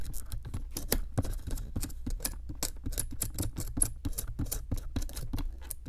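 A metal chisel scrapes a solid pink plaster excavation block around a buried bone piece. A rapid, steady run of short, dry scratching strokes with bright, gritty edges and almost no ring sits over a low, soft rumble.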